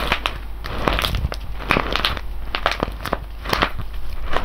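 A full, sealed silver foil coffee bag of whole beans is held in both hands, squeezed and rubbed with the fingers. Dense crinkling and crackling from the foil mixes with the crunch of the beans shifting inside, in quick, bright, irregular bursts over a low steady background.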